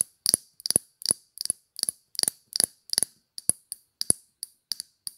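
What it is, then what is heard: Glass perfume bottle tapped with fingernails. Long dark polished nails tap a small square Chanel glass perfume bottle with a silver cap, held in the hand. Quick clusters of sharp, bright clicks with very little ring sound out through the clip, with a few fuller, deeper taps among them.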